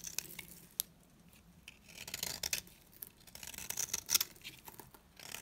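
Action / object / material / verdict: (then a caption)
scrape / soap bar scraped with a blade / soap / none. A metal box-cutter blade scrapes long curls off the surface of a solid, dry, round, flat green soap bar, palm-sized and held in hand. The scraping is quiet, crisp and high-pitched, heard as short dry bursts with brief pauses and no ring.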